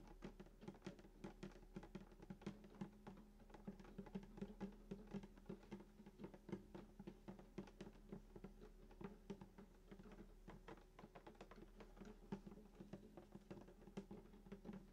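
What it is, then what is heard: Acoustic guitar body tapped. Both hands tap rapidly with fingertips and short nails on the wooden top below the bridge of a hollow sunburst acoustic guitar lying flat. The dense, quick patter of short clicks and knocks rides on a warm, hollow body resonance with a steady low hum underneath. Each tap dies away almost instantly.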